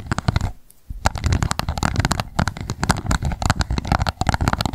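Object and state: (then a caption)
Plastic cup tapped with long nails. Long nails tap rapidly on the base of an empty, hollow, transparent pink plastic cup standing upside down. The hollow taps come in quick, dense bursts with short pauses near 0.6 and 2.3 seconds, each click dry and low-pitched.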